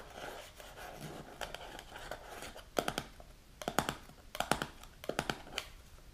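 Long pink nails tap and scratch the silver lid and side of a medium translucent plastic supplement jar filled with powder. Soft, raspy scratching fills the opening seconds, followed by quick clusters of sharp, bright clicky taps that die away almost instantly.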